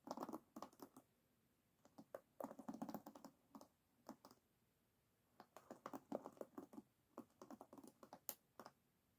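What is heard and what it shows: Fingertips and nails scratch over the wooden pins of an oval wooden hairbrush resting on a table. The result is quiet, dry, quick clicking scratches in short clustered bursts, mostly midrange with brief bright ticks, separated by silent pauses.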